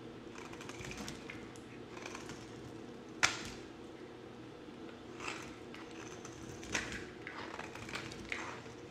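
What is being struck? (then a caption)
Bar of soap cut with a blade. A solid oval white bar of soap, held in one hand, is carved and scraped with a yellow box-cutter blade, and the shavings fall onto the table. A steady, dry scraping texture runs throughout, broken by a few sharper, brighter cutting snaps, the loudest about a third of the way in.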